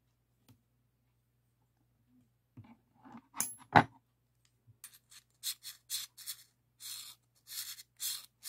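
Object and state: Steel open-end wrench.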